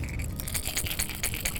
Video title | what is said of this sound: A Hard Knock Life - FULL EPISODE | a much harder knock as compared to the rattles so it's a more dominating sound